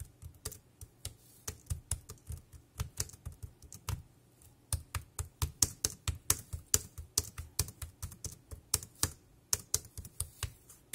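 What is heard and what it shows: Fingertips type continuously on a dark grey plastic wireless keyboard with round keys and a hollow body. Its sharp, bright clicks carry a low, hollow thump and fall in an uneven, steady rhythm with brief pauses, each tap dying away almost at once.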